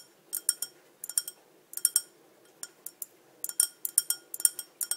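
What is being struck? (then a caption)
Small ribbed glass cup. Long dark-painted nails tap a small, clear glass cup with ribbed sides and a green-tinted base, held hollow and empty in one hand. About twenty quick, bright, high-pitched clinks come in short bursts, each dying away almost at once, with no low-end weight.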